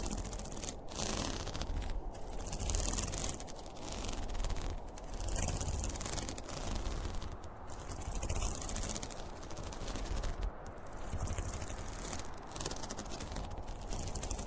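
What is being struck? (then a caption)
Polyester fabric pencil case. A zippered school pencil case made of polyester fabric, with a printed cartoon panel, hollow and closed, is scratched and scraped with fingernails across its top and front. The result is a steady, dense rasping and scratching texture with a low, muffled body and bright fabric hiss, pulsing in level without clear separate hits.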